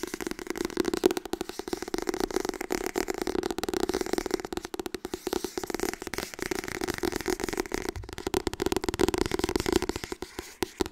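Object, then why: Softcover paper book. Fast tapping on the softcover book "Harry Potter en de steen der wijzen" produces a dense, continuous stream of dry, papery taps with no ring. The sound carries a hollow mid tone around 370 Hz with a light crackly edge.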